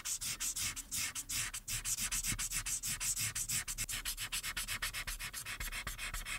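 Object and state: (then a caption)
Marker coloring on paper. A hand with long red acrylic nails rubs and scratches the orange felt tip of a white plastic alcohol marker across a thin, solid printed paper coloring page lying flat on a dark backing board, coloring the face. It makes a quick, uneven run of short, bright, dry scratchy strokes with a papery hiss that stops sharply after each pass.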